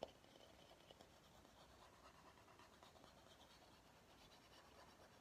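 A large, hollow, empty bamboo salad bowl is held upside down in both hands while its outer surface is tapped and scratched with short fingernails. A sharp tap opens the clip, followed by steady, quiet, dry scratching with a faint mid-range tone and some high rasp throughout.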